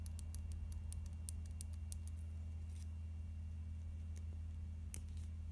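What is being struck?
Small plastic concealer tube.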